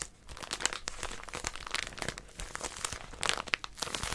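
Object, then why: Paper packet in a plastic wrapper. Long nails grip and scratch the crinkly plastic wrapper of a small white paper packet with a pink outline. A steady stream of bright, dry crinkles and crackles follows, with a few sharper snaps toward the end.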